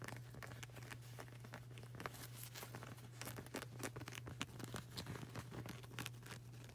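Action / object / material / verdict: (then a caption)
tap / rubber flip-flop sole / rubber / none. Fingertips with long burgundy nails rapidly tap and scratch the dark grey, textured rubber sole of a flip-flop with a flag-print edge; the sole is solid and flexible. Quick, dry clicks and scratchy rustles run throughout at a low level over a steady low hum.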